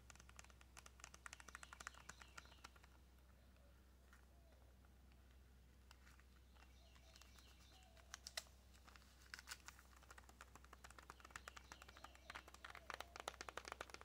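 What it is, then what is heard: Plastic-wrapped cardboard box. Long nails tap quickly on a small, hollow white cardboard nail box wrapped in clear plastic, making light, bright clicks with a crinkly plastic edge over a steady low hum. The taps come in rapid bursts: an opening flurry, a quiet stretch with only faint rustling, then denser tapping that builds toward the end.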